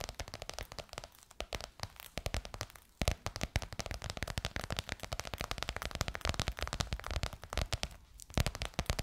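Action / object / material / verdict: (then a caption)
tap / embossed faux leather cover over a curved hollow form / faux leather / none. Long white almond-shaped nails quickly tap and scratch bronze-gold crocodile-embossed faux leather stretched over a curved hollow form, likely a microphone. The result is a dense, fast stream of short crackly clicks and scratchy rasps with a soft low thump under each tap, and brief quieter pauses between bursts.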